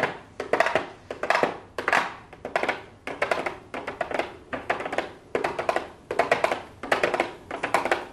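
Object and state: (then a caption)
Cardboard makeup box with plastic window, tapped with fingernails. A small, hollow pink cardboard makeup box with a clear plastic window lid is tapped and scratched on the window by long blue acrylic nails. Quick bursts of crisp, clicky taps and light scratches come in about a dozen clusters, each fading away briefly before the next. The sound is bright and papery, with little low end.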